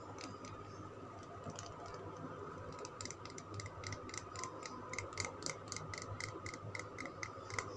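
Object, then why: Bar of soap. Fingernails tap and scratch the surface of a solid green Lux soap bar held in the hand. Quiet, short, dry clicks with a bright edge around 2 kHz come at an uneven, quickening pace, growing louder and denser in the second half. A faint steady low hum sits underneath.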